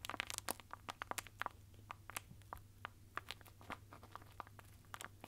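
A long roll of red and silver Christmas wrapping paper, wound around a hollow cardboard core, is held in both hands while fingertips tap along its surface. A quick, uneven series of short, dry taps gives off crisp, bright crinkly clicks that stop instantly, over a faint steady low hum.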